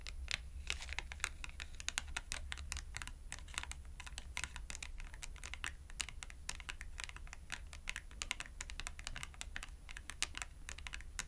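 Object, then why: Thin cardboard tag tapped with fingernails. A small, thin purple cardboard shopping tag is held edge-on between both hands while its edge is tapped rapidly with long acrylic nails. The result is a continuous stream of quick, dry, bright clicks with almost no ring, over a steady low hum.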